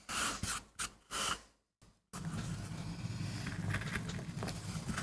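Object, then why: MDF board carved with a metal gouge. A metal gouge carves and scrapes fine lines into a small, flat, solid MDF board held down by fingertips. A few short, bright scraping strokes are separated by near-silent pauses, then a continuous, steady, gritty scrape with a low rumbling undertone carries on to the end.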